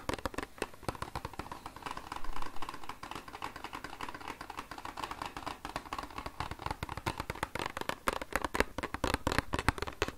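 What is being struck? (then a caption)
Small printed cardboard product box. Fingertips and nails tap rapidly on the faces of a small, hollow, rectangular pink printed cardboard Farmasi cosmetics box with "Love" lettering, held in both hands close to the microphone. The result is a fast, dense stream of short, dry taps with a hollow, low thud and a clicky midrange, each dying away almost instantly. The taps grow louder and sharper toward the end.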